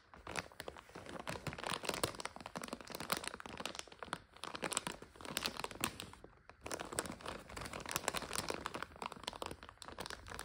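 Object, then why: Plastic food bag of egg noodles. Long nails scratch and tap a full 400 g plastic egg noodle bag lying on a couch. The result is a steady stream of dense, bright crinkling and crunching with many quick, sharp clicks, broken by a brief near-silent pause about two-thirds through.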